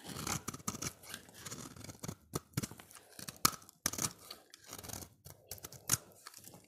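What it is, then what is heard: Bar soap scraped with a blade. A solid, oval, dry orange bar of soap is held in the hand and scraped with a utility knife blade. The result is a quick run of crisp, dry scraping and shaving strokes with bright, hissy tops and short crackly bursts, separated by brief pauses.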